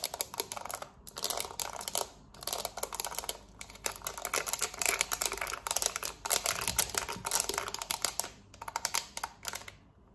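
Long acrylic nails tap and scratch fast across the rubber buttons of a small, hollow, black plastic Samsung TV remote held in hand. Dense bursts of crisp, bright clicks and scratchy ticks come in quick flurries separated by brief pauses. Each click is very short, with almost no low end.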